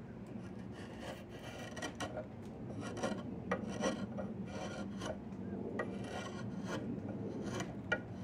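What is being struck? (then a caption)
Willow wood stick scraped by a steel chisel. A yellow-handled steel chisel scrapes and shaves the surface of a long, solid diamond willow branch being carved into a walking stick. Repeated short, bright rasping strokes stand out over a steady low rumble, with a few sharper scrapes along the way.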